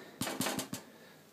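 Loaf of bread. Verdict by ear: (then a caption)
Done. A homemade loaf of bread, baked about 35 minutes at 180 and then 5 more minutes upside down in the switched-off oven, is tapped four times, giving short hollow knocks with a low resonance around 250 Hz. The loaf sounds nicely done, baked through.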